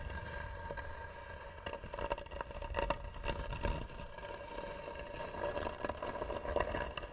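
Both hands scratch hard with long nails across the lid of a hollow, tan carved wooden box. The scraping makes a steady, rough rasp with a resonant mid tone and bursts of louder strokes throughout, over a faint low rumble.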